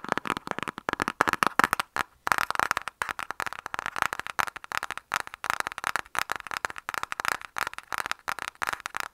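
Fingernails of both hands tap rapidly on a flat, rectangular, printed cardboard lipstick palette box held upright. The taps are quick, dry and crisp clicks in dense bursts, centered in the midrange with almost no low end and no ring, with a brief pause around two seconds.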